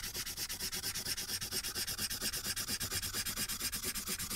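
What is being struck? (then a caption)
Felt-tip marker on a paper sheet. A felt-tip marker is rubbed in rapid back-and-forth strokes over a thin paper coloring sheet lying flat on a clipboard. The result is a steady, rhythmic, bright scratchy hiss, with each short stroke pulsing quickly into the next and only a faint low undertone.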